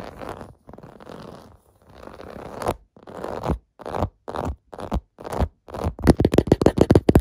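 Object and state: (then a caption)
Plastic bubble bath mat. Fingers and nails scratch the domes of a clear blue plastic bubble bath mat lying on carpet, close up. Long rasping scratch strokes give way to shorter, separate bursts, ending in a quick run of bright, crackly scrapes.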